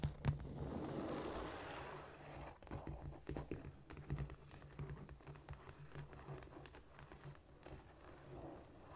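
Long nails scratch and tap on a flat, solid cork floor. A soft, rushing scrape fills the first two seconds, then gives way to irregular, dull taps and short scratches over a steady low hum.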